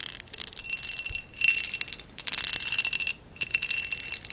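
A hollow amber textured glass vase is held in the hands while long acrylic nails tap its base and then scratch its textured sides. The result is bright, high, dense clicking and scraping in several bursts separated by short quiet gaps, with almost no low end and a faint glassy ring.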